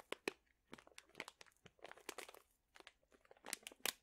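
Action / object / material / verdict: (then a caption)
scrape / plastic pouch of dried chili peppers / plastic / none. A sealed plastic pouch full of dried chili peppers is crinkled and squeezed with fingertips. Quiet, bright crinkles and crunches come in short, dry bursts that stop almost at once. The loudest crackles land near the end.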